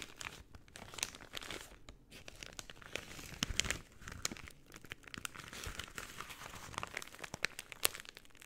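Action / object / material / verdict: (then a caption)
scrape / paper bag / paper / none. An empty white paper bag is folded and rolled into a tube, then unfolded, crinkled and squeezed with fingertips and long painted nails. The result is a steady, bright rustle of crinkling paper, dotted with many sharp crackles and brief louder crunches.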